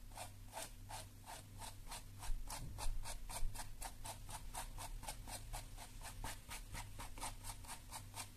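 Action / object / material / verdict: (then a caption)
scrape / plastic detangling hairbrush / plastic / none. A lilac plastic detangling hairbrush has its bristles scratched by long nails, and its plastic shell is tapped. A steady run of quick, bright scratchy strokes repeats at a brisk, fairly even pace over a low, constant hum. A few slightly louder taps come through near the middle.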